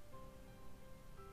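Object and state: Nothing is struck.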